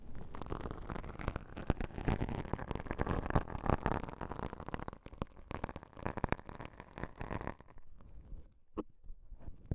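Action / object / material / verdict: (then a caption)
scrape / self-adhesive elastic bandage fabric / elastic fabric / none. Two small folded pieces of beige self-adhesive elastic bandage fabric, one held in each hand, are pinched, folded and rubbed with the fingertips. This makes a dense, close, crackling rustle with many soft sticky pops, weighted toward low rumbling tones. The texture thins to sparse, quieter crinkles near the end.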